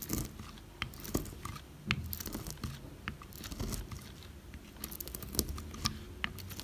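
A metal blade cuts many thin slices into a solid oval bar of dry soap with a silver-painted surface and cream interior, held by fingers with long red nails. Each cut gives a dry, brittle crunch with sharp, bright crackles over a soft low thud. The cuts come in quick, uneven succession and stop short with no ring.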